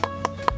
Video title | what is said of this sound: Mùa sầu riêng ở Miền Tây, bạn có biết? Nông nghiệp Việt Nam | If the fruit is young, the sound is thicker